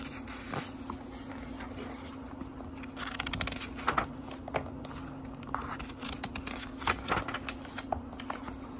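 Fingertips flip and riffle the cream paper pages of a small book with a brown leather-like cover, lying open on a wooden table. Soft, crisp paper rustles and quick flicks come in short bursts over a faint, steady low hum.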